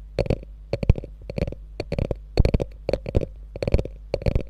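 Long nails scratch and tap the quilted front, near the top edge, of a small, hollow, beige quilted faux leather handbag with a gold metal logo. Bursts of quick, dull taps mix with short scratchy rasps, coming in uneven clusters over a steady low hum.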